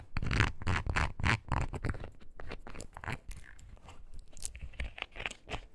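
A small light-blue foam rubber clog shoe is held in the hands while its sole and upper are scratched and tapped with long nails. Fast, irregular bursts of crunchy scratching and soft dull taps follow one another, with a low thumpy body and brief bright scraping streaks. Each sound dies away almost at once.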